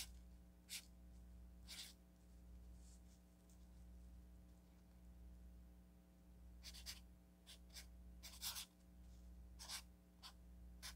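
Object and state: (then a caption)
Sticky note pad written on with a marker. A felt-tip marker writes on an orange paper sticky note pad, a solid stack resting on a table. Short, bright, scratchy strokes come in scattered bursts over a steady low hum.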